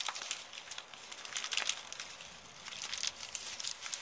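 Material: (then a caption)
Paper. An empty, crumpled brown kraft paper bag is crushed and crinkled with the fingers and long painted nails. Dense, bright, crackling rustles come in quick irregular bursts with almost no low end, rising and falling in loudness throughout.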